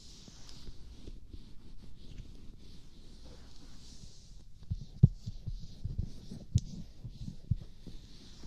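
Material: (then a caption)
Silicone. Fingertips and palms rub and press the cheeks and jaw of a lotion-coated, life-size silicone/rubber practice mannequin face resting on a pink pillow, in slow massage strokes. The sound is a quiet, low, muffled rubbing and squishing over a faint high hiss, with a few sharper soft presses standing out near the middle and end.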